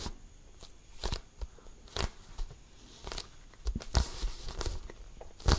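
A full-size, hollow, inflated Wilson basketball with a pebbled composite leather surface is tapped and scratched with fingertips and nails close to the mic. Short, deep thumps from the hollow ball mix with dry, crackly scratching over its textured skin, coming in quick, irregular bursts with a louder tap at the end.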